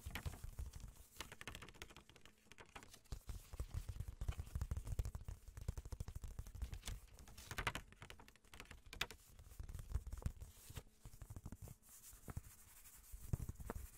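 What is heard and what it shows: A thin, flat, pale pink paper greeting-card envelope is held up while fingertips and nails tap and handle its surface. The result is a dense run of quick, soft, dry taps and light scratches, mostly low and dull with faint papery crackle on top. Each tap stops almost instantly, with brief pauses between the flurries.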